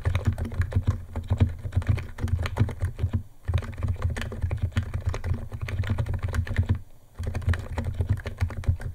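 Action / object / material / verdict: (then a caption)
tap / plastic computer keyboard / plastic / none. Fingertips of both hands type fast on a white compact 68-key Niz ATOM 68 keyboard with electro-capacitive switches, white plastic keycaps and a plastic case, resting on a wooden desk. A dense, rapid stream of short, deep, muted keystroke clacks dominates the low end, with brief pauses near 3.3 and 7 seconds before the typing resumes.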